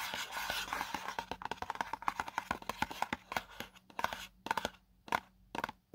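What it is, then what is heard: Cardboard product box. A small, hollow, white printed paperboard box for a selfie stick tripod is held in one hand while fingertips and short nails scratch and rub across its printed face. Dense, dry scratching with a papery rasp around 1 kHz and bright hiss thins out after about four seconds into short, separate scrapes and ticks with quiet gaps between them.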